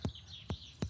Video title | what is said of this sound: Dog With Severe Breathing Issue Rushed To Vet - Vet On The Hill | We can hear a very tinny sound, which basically sounds like a bag, which is the abomasum, filled with gas. So it sounds a little bit like a drum.